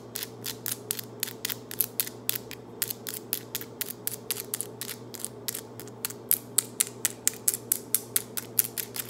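Very long, solid acrylic nails on both hands are tapped and clicked against each other, nail tips on nail tips, in fast nail-on-nail tapping. About 40 sharp, bright, dry clicks follow in quick irregular bursts, each dying away almost instantly. They grow louder in the last third, over a faint steady low hum.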